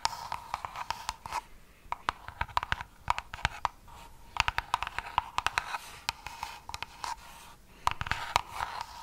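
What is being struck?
Small cardboard box.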